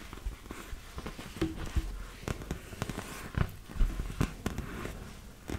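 Fingertips and nails rub and scratch the surface of a large, hollow, inflated yellow and blue PVC vinyl beach ball. Irregular, dry scratching crackles and soft, dull taps sound with little ring, mostly low in tone.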